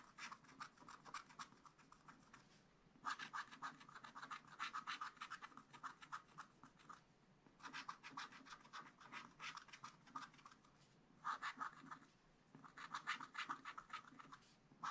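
A wooden stylus makes rapid, short scratches on black coated scratch art paper, filling in a fern leaf while a hand holds the pad flat. The dry, raspy strokes come in quick bursts separated by brief pauses, with a midrange scratch tone and a bright hiss on top.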